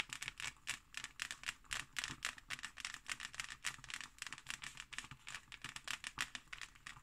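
Long nails tap and scratch the embossed, patterned cover of a solid hardcover book lying on a table. Quick, irregular clicks and scrapes come in a dense, uneven stream, bright and crisp with almost no low end and very little ring.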